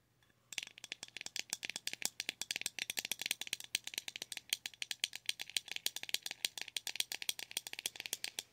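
Long nails tap and rattle a small, round, clear plastic blush compact that sits open with its lid up. After a brief quiet start, about fifty quick, dry, bright clicks come in a steady, dense run, each ending almost instantly with no low end.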